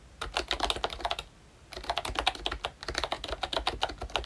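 Fingertips type on a full-size ROYCHE Disney Mickey Mouse retro plastic membrane keyboard with round plastic keycaps and a hollow plastic body. A quick run of light, bright, clicky keystrokes is followed by a short pause, then a second, longer burst of typing. Each key tap is dry and short with almost no ring.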